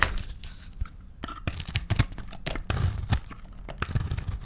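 A small, dry bar of soap, painted gold outside and purple inside, is held in the hands and shaved and cut with a box-cutter blade. Its purple shavings crumble onto a tiled surface. There are dry, crisp scraping and crackling cuts in quick, separate bursts with bright, papery edges over a low, soft body.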